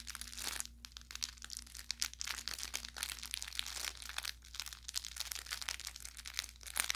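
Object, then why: Plush fabric toy with crinkle filling. An orange velour plush carrot cat toy with crinkle filling is squeezed with the thumb and fingers, producing a steady run of bright, dense crinkling and crackling. Sharp pops break through the rustle throughout, over a faint low hum.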